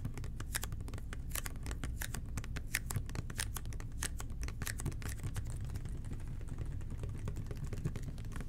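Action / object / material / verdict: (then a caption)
tap / plastic cleaner bottle / plastic / none. Fingertips tap on the side of a red and white plastic toilet cleaner bottle, then on its base after it is turned upside down. The result is a quick, uneven series of short, bright plastic clicks that die away almost instantly over a steady low background rumble.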